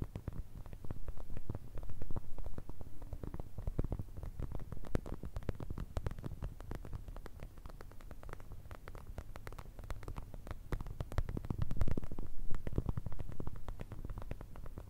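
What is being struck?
Soft plastic eye mask filled with gel beads.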